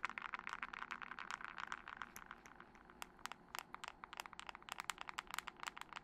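Long decorated acrylic nails tap fast on a thin, solid smartphone with a glass screen, glass back and metal frame, held first flat and then upright near a fluffy mic. The sharp, bright clicks come in quick, uneven bursts, dense at first, thinning briefly in the middle, then picking up again. Each tap dies away almost instantly, leaving a crisp, dry ticking with a clicky tone around 1.3 kHz.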